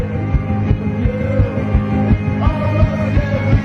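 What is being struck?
Nothing is struck.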